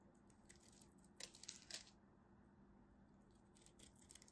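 A craft knife scrapes and cuts the scored surface of a solid blue-and-white striped bar soap held in hand, chipping off crunchy flakes. Dry, bright crackling scrapes come in quick bursts, loudest in the middle, fading, then returning near the end over a faint steady low hum.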